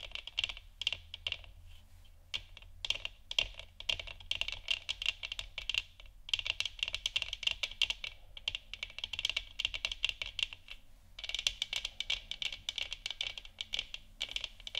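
Long nails of both hands scratch and tap on the top and upper sides of a hollow plastic moon lamp sphere with a textured surface. Dense, rapid, bright clicks and scratchy rustles come in bursts with brief pauses, each tap short and dry, with a strong high presence and almost no low end.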